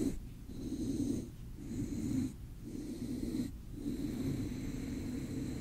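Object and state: Nothing is struck.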